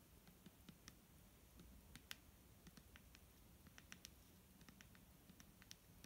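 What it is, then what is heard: Plastic bottle tapped with fingernails. A clear plastic micellar water bottle, filled with liquid and held in hand, is tapped with fingernails in a quick, irregular series of soft, bright clicks. Each tap is short and dry, ringing around 2.9 kHz over a quiet low rumble, with no resonance after it.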